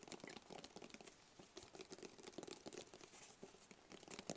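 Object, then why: Small rigid cardboard box. A small, hollow, closed black rigid cardboard gift box is held in both hands and tapped rapidly with the fingertips. The result is a quiet, dense patter of short, dry, papery taps with bright crinkly clicks. Each tap dies away almost instantly.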